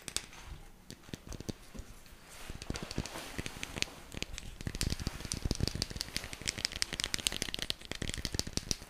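A small, hollow, round teal plastic jar with a lid is held and handled with fingertips, tapped and shaken. Quick, dry, crackly taps and a rattling sound come in rapid clusters, each very short. They start soft and sparse, then grow busier and louder in the second half.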